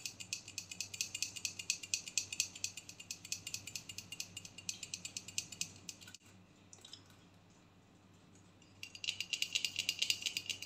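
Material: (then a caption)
Aluminium. Long painted nails tap quickly on a medium, hollow, pressurized aluminium aerosol body spray deodorant can with a black plastic cap, held upright. The taps are short, bright, and clicky with almost no ring, falling into a steady rapid patter. The tapping drops to a quiet pause about two-thirds of the way through, then resumes.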